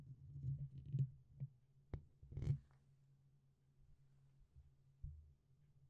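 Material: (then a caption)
Metal mesh. Fingertips tap and poke the top and sides of the black, hollow, dome-shaped metal mesh grille on a red USB condenser microphone. The result is a series of dull, muffled low thumps with a few sharper clicks and a brief brushing rustle, all over a steady low hum.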